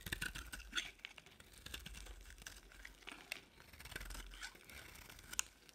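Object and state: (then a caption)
Dry bar soap being carved. A utility-knife blade carves and scrapes a solid yellow oval bar of dry soap held in the hand, peeling off crumbly shavings. Quiet, bright, crisp scratching and crackling comes in short bursts of dry scrapes and sharp ticks over a faint low rumble.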